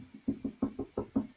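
Someone knocks on a desk six times in quick succession, a little under a fifth of a second apart. Each knock is a short, dull thud with a low, hollow tone and almost no ring.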